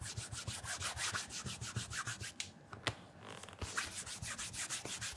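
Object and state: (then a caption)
Leather loafer being polished. Fingers wrapped in a cloth rub and polish the leather upper of a black leather loafer lying on its side, with its leather sole and stacked heel showing, in a steady circular motion. A quick run of soft, bright, hissy rubbing strokes repeats, easing into a quieter stretch midway before the brisk strokes pick up again.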